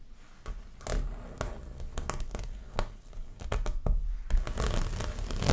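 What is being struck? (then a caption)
Stretched canvas print on a wooden frame. Long nails scratch and tap across the surface of a framed, stretched canvas dreamcatcher art print held upright. Irregular dull taps with short, bright scratchy transients sit over a low, thumping body.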